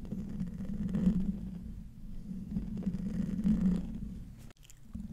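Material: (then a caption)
Metal mesh. Short nails scratch the hollow metal mesh grille of a silver condenser microphone, producing a low, close-up rasping rumble. The scratching comes in two swelling passes, with a brief dropout near the end before it resumes faintly.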